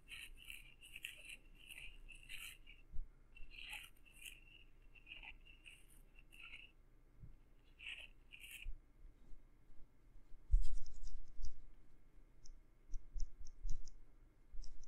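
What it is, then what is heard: Silicone ear rubbed with a fluffy stick. A wooden stick with a pink fluffy tip rubs and scratches inside the ear canal of a soft silicone microphone ear. Short bursts of bright, brushing scratches come and go over a steady low rumble, with a few soft low thumps. Toward the end the scratching turns into quieter, crisp high ticks.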